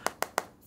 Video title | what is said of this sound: CUMA Segini Kemampuan HP Infinix⁉️ | bagian kamera modul ini yang terlihat seperti metal tapi plastik juga kalau diketok gini juga berasa kopongnya